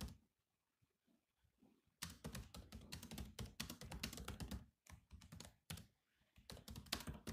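Fingertips of both hands type fast on the low-profile plastic chiclet keys of a grey metal-bodied laptop. A few soft, scattered taps open the clip, then a dense run of quick, clicky keystrokes begins at about two seconds. The keystrokes have short, dry thuds and bright clicks, with brief pauses near five and six seconds.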